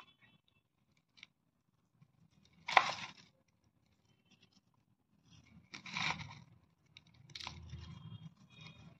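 Fingertips scoop and squeeze loose green crystalline para-dichlorobenzene powder from crushed mothball cakes in a black round bowl. Bright, gritty crunches and scrapes come in short bursts between quiet pauses, with the sharpest crunch early on and a longer, rustling scrape toward the end.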